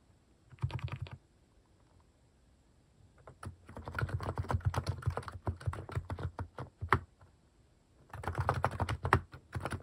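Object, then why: Mechanical keyboard with plastic keycaps. Fingertips type on a compact mechanical keyboard fitted with cat-shaped plastic keycaps. Short bursts of rapid, deep clacking keystrokes come in three runs separated by brief pauses: a quick flurry, a longer steady stretch, then a final run. Each keystroke ends quickly with almost no ring.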